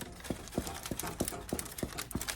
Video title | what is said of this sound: Dough & Devotion- Sourdough Bread Tutorial and Devotional | The bottom of the bread should be making like a hollow sound, and that's another way that you can make sure that it's done